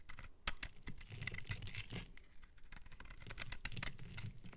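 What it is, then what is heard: Bar of soap scraped with a blade. A metal utility-knife blade scrapes along the end of a solid, palm-sized pink bar of soap held in the hand, crumbling pieces off it. The sound is a quick run of crisp, dry scratches and brittle crackling ticks with a bright, gritty edge over a soft low rumble, with no ringing after each stroke.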